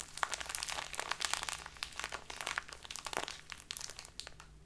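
A small plastic bag full of loose tea is cupped in both hands and squeezed and crinkled with the fingers. It makes a dense, bright stream of crackling and crinkling, with sharp louder snaps among the quieter rustles and a faint steady low hum underneath. The crinkling fades slightly toward the end.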